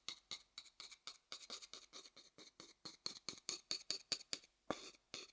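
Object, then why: Upside-down wooden bowl tapped with a thin wooden stick. A medium, hollow, light wooden bowl held upside down has its base and outside tapped and scratched with a thin wooden stick. About 25 quiet, short, dry strikes and scrapes come in an uneven rhythm, each bright and hissy with almost no ring or low end.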